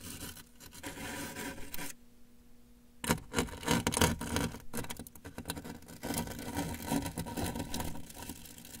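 A brush handle is held against the lower right side of a large, closed, hollow corrugated cardboard shipping box and worked in repeated scratching and tapping strokes. The result is a dry, papery rasp with hollow knocks and a low boxy body, pausing briefly in near-silence before resuming in louder, denser bursts.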